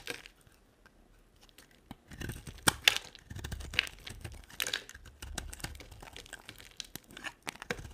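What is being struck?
Bar of soap cut with a knife.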